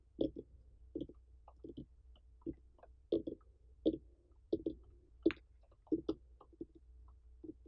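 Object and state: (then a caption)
Whole pumpkin. Long fingernails of both hands tap and scratch the ribbed rind of a large, uncut orange pumpkin with a dry stem, its rind intact and not hollowed. About eighteen short, dull, low taps, each with a faint bright click, come at an uneven pace with quiet scratching between them. Each tap dies away almost at once over a low steady hum.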